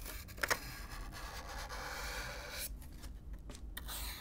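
A stiff black-bristle brush is brushed across the hollow surface of a brown corrugated cardboard box, heard close up. It makes a steady, dry, scratchy rustle, with two sharp ticks early on. Partway through, the sound thins and turns breathier, with short strokes fading in and out.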